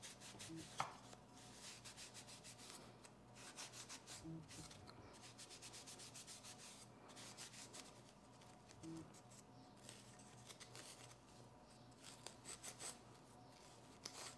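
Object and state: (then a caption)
Olive wood slotted spatula being rubbed with a cloth. A solid olive wood slotted spatula or spoon is held in hand while a folded cloth, pressed by the fingertips, rubs along its bowl and handle. The rubbing makes soft, dry, bright strokes that come in repeated bursts over a faint steady background, with one small sharp tick near the start.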